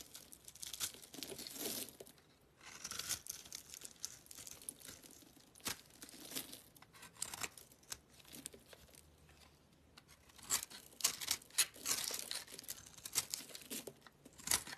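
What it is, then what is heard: Soap bar being scraped. A black utility knife blade scrapes shreds off the face of a small, solid yellow soap bar held in the hand. The sound is bright, crisp, crackly scraping in short bursts and strokes, with brief quiet pauses between passes and sharper, louder scrapes toward the end.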